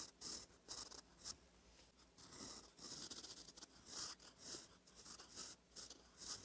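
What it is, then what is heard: Paper notebook page scratched by a pen nib. A gold metal fountain pen nib, held by the fingertips, scratches across a thin cream lined notebook page while writing in cursive. Quiet, dry, high scratchy strokes come in short bursts with brief pauses between them. There is almost no low end and no ring after each stroke.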